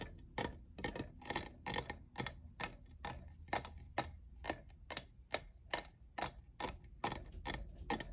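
Fingernails tap the faceted side of a tall, hollow, apparently empty lavender plastic jeweled tumbler. A quick, somewhat uneven series of short, dry clicks, about two per second, has bright top edges that die away almost instantly. A faint low rumble sits underneath throughout.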